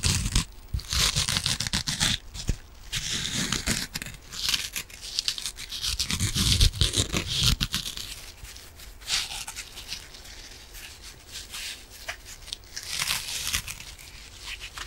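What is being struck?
Foam kitchen sponge with scouring pad.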